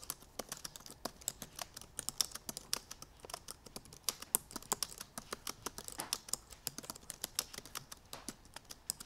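Both hands with long painted nails type rapidly on the black plastic keys of a silver aluminum MacBook Pro keyboard. A fast, steady stream of sharp, bright clicks rings out, each dying almost instantly, with very little low end beneath them.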